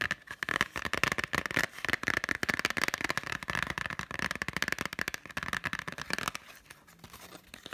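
Long nails rapidly tap the front of a hand-held Totoro Blu-ray in a green printed cardboard slipcover. A dense stream of crisp, dry clicks with a bright, papery ring runs for about six seconds. The taps then drop to a few faint, scattered ticks.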